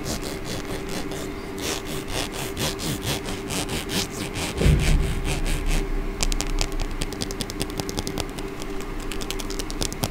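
Long painted fingernails strum and scratch across the teeth of a small, solid hot-pink plastic comb held close to the microphone. A steady run of dry, rasping clicks is heard, about four per second; they turn quicker and crisper partway through, with a brief low bump just before. Under it sits a faint constant low hum.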